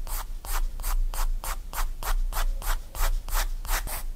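A graphite pencil shades back and forth on a page of a spiral-bound paper sketchbook, giving about thirteen quick, steady scratchy rubbing strokes. Each stroke is a bright, airy hiss over a low steady hum.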